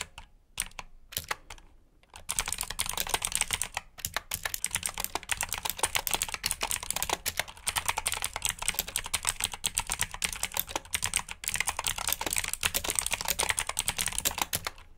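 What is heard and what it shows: Fingertips type on a black backlit mechanical keyboard with plastic keycaps. A few scattered keystrokes in the first two seconds lead into steady, rapid typing. The clicks are sharp, bright and dry, with almost no ring after each press.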